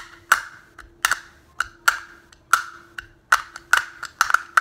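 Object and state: Plastic snap case.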